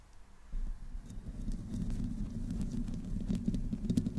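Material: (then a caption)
Metal mesh. Long nails slowly scratch the metal mesh head of a black condenser microphone from the top and sides. The result is a close, muffled, low rumbling scrape with a faint tone around 240 Hz. It starts quietly, then grows steady and louder from about half a second in, with small, dense grainy pulses throughout.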